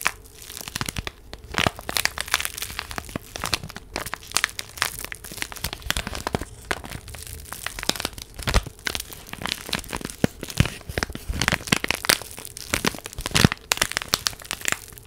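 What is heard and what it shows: A small flat purple paper envelope is crinkled, rubbed and scratched with long nails close to the microphone. The result is a dense, continuous stream of sharp papery crackles and scratchy rustles, bright and crisp with quick, dry bursts over a faint low hum.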